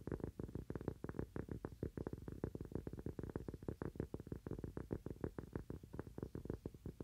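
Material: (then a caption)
Cork. A small, round, thin solid cork coaster is held in both hands and tapped quickly with the fingernails. Many dull, low taps come in an unsteady, fast patter, each thud short and dry with almost no ring.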